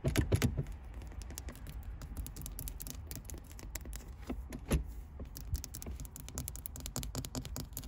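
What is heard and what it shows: A small, solid round chrome metal gear shift knob engraved with a 1–6 pattern is tapped and scratched with long white acrylic nails. Quick, irregular clicky taps and light scratches sound over a steady low rumble. The hits are short and dry, with bright ticks, and are heaviest at the start and near the middle.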